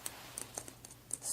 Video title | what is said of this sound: Jennie Jane Holiday 2! 🎅 | it has kind of a nice little scratch to it with the glitter